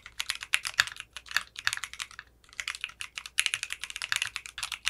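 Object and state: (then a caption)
Polycarbonate mechanical keyboard, typing. Fingertips type on a 60% mechanical keyboard with clear pink polycarbonate keycaps and a translucent case. Rapid, bright clacky keystrokes run in quick bursts, with a brief pause near the middle.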